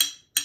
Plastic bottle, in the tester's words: пустая бутылочка и это высокий звук